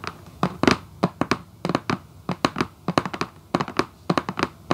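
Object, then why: Cardboard shoebox lid. Long acrylic nails on both hands tap and scratch the printed lid of a hollow red Vans cardboard shoebox. The result is quick, dry, hollow clicks in irregular clusters, each cutting off almost at once, with a faint scratchy hiss between taps.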